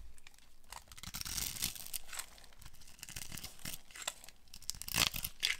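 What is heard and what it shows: A utility knife blade carves a solid, hand-sized oval bar of dry green soap held in the hand, cutting it into small green cubes that crumble off. The cuts make dry, bright scraping and crunching sounds in irregular bursts, with a few sharper crackles near the end.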